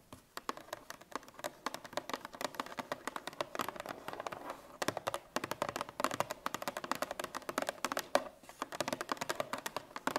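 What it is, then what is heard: Cardboard milk carton. Long red nails tap rapidly on the top of a Parmalat 1 L cardboard milk carton lying on its side. The result is a quiet, dense stream of short, dry, hollow clicks with a midrange body and almost no ring.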